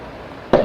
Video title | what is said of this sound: Budismo e Ciência | Se eu bater aqui do lado outro som. É o som da lateral da mesa.